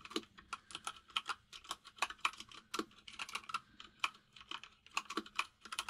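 Both hands type with their fingertips on a compact plastic mechanical keyboard with white and grey plastic keycaps. A steady run of quick, bright, clacky key taps dies away almost instantly, with a mid-range tone near 1.3 kHz and no low rumble. Only the keyboard is heard throughout.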